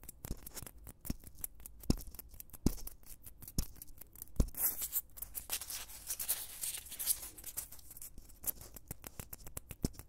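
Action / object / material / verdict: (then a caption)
scrape / foam blocks / foam / none. Two soft, solid white foam blocks are held in both hands right next to a microphone and squeezed, rubbed and scratched with the fingertips. A steady run of quick, dry clicks and crackles is heard over a low rumble, and the middle of the clip swells into a brighter, hissy scratching before the sharp crackles return.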